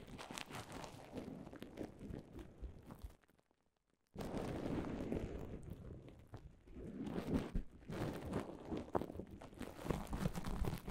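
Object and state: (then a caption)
Plastic bubble wrap. Fingertips and nails tap and scratch across a mound of clear plastic bubble wrap, giving a dense, irregular crinkling with soft, low-weighted taps. The sound breaks off into near silence for about a second around the three-second mark, then resumes and continues steadily to the end.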